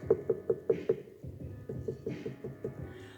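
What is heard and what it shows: A leather-hard clay bowl on the wheel is tapped about ten times, with short, dull knocks around 445 Hz: five evenly spaced louder taps, a pause, then softer ones. Tapping this different spot gives a lower tone, showing the clay there is thicker and that quite a bit of material can be trimmed away.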